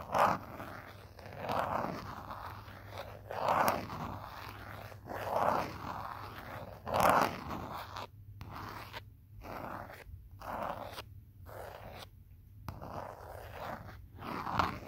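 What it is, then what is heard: Smartphone in rubbery plastic case. A fingertip and short nail scratch and tap the back of a handheld smartphone in a green rubbery plastic or silicone protective case, near the camera lens, while the small, solid phone is held in the other hand. The result is a run of dry, raspy, zipper-like scrapes centered in the midrange around 1 kHz. The scrapes swell and fade at an irregular pace and are broken by a few brief near-silent gaps.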